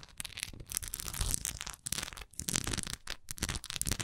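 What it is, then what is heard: Wax pillar candle. Long acrylic nails tap and scratch the textured side of a large solid wax pillar candle with a raised swirl pattern, held upright. The result is a dense run of bright, crisp scratching and rustling bursts with dull low thuds beneath, each sound dying away instantly with no ring.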